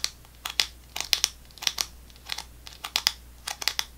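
A full GoGo Squeez apple sauce pouch made of laminated plastic foil, held in both hands, is tapped and scratched near the cap with fingernails. About sixteen sharp, bright, dry clicks and scrapes arrive in loose, irregular clusters, each with a brief crinkle of the foil and almost no low end.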